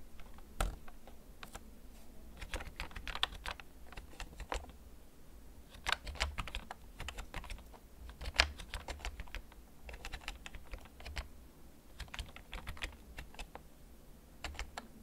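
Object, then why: Plastic computer keyboard. A hollow, backlit plastic gaming computer keyboard, held up in both hands, has its keys tapped slowly with the fingertips. The result is a quiet, irregular series of short, bright plastic clicks that die away almost instantly, over a steady low hum.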